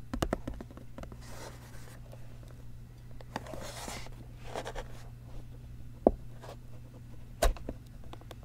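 Fingertips and nails scratch and tap a square translucent blue plastic lid snapped onto a clear plastic food container lying flat on a teal towel. Soft, airy scratching swells come and go over a steady low hum, with a cluster of quick ticks at the start. Two sharper taps stand out near the end.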